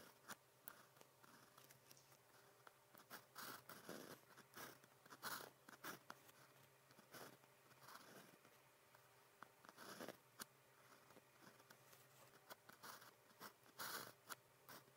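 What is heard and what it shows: The tip of a blue plastic pen scratches across flat cream grid practice paper on a desk while writing characters. Quiet, dry, scratchy strokes come in short, crisp bursts with bright, papery friction and no ring, separated by near-silent pauses.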